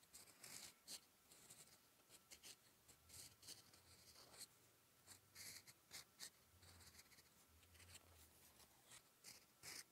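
A steel fountain pen nib, held in the fingertips, scratches across a thin sheet of lined writing paper lying flat while writing. The sound is quiet, dry, bright scratching in short strokes and bursts, with brief pauses between them and a faint low hum underneath.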